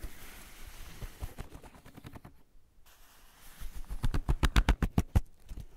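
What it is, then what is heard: Paper sketchbook being rubbed and scratched. Fingertips and the palm sweep, rub and scratch across a blank white page of a spiral-bound sketchbook, near the spiral edge. Soft papery rubbing fades into a brief near-silence, then a quick run of louder, scratchy strokes follows in a fast, uneven rhythm, each with a dull low thump and a short dry tail.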